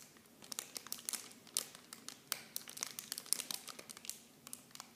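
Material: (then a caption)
Plastic. A small clear plastic film bag holding blue plastic miniature shampoo bottles is held in both hands and squeezed and crinkled by fingertips and long painted nails. The result is quiet, bright, irregular crinkling with sharp, dry crackles that stop almost instantly, and little low end.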